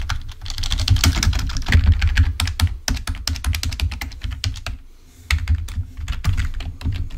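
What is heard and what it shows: A full-size black plastic Microsoft wired membrane keyboard lying on a white table is pressed with the index fingertips, then typed on with both hands. Rapid, uneven soft plastic clacks carry a deep, dull thump under each stroke, with brief bright ticks at the top. The typing thins into a short lull near the fifth second, then picks back up.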